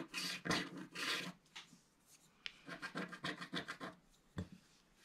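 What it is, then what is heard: Scratch-art paper being scraped. A wooden stylus scratches the black coating off a flat, roughly A4 scratch-art mandala page from a book, revealing colour underneath, while a flat palm and fingertips rub and sweep away the flakes. Broad, bright rasping strokes come in uneven bursts, some longer sweeps and some short quick scrapes, with quiet gaps between.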